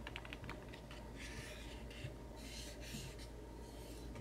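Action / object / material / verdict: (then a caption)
tap / small printed cardboard box / cardboard / none. A small white-and-pink printed cardboard macaron box, hollow and filled with loose metal bottle caps, is tapped and scratched with fingertips and short nails. Light, quick taps come first, followed by bursts of dry, hissy scratching. Everything is quiet over a steady low background hum.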